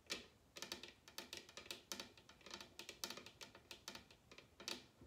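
Long red nails tap rapidly on the hollow top of a large upside-down bamboo wooden bowl. The result is a quick, irregular run of bright, clicky taps with little low end, each dying away almost instantly.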